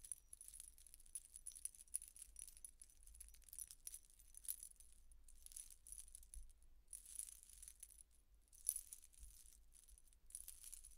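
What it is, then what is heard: Metal disc necklace jingling. A large silver-toned statement necklace of layered metal chains, hung with many thin round metal discs, is held up in one hand near long dark-painted nails and shaken. The discs jingle and clink against each other in a steady, bright, high-pitched shimmer of quick, short clicks that pauses briefly and then resumes, over a faint low rumble.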